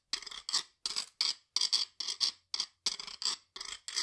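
A hollow stainless steel ridged cylinder held upright in one hand is scraped along its ridges with a flat metal scraper in the other, a steel guiro. It makes a series of short, separated scrapes, each a rapid rasping ratchet of tiny clicks. The sound is bright, metallic and high, with almost no low end and no ringing after each stroke.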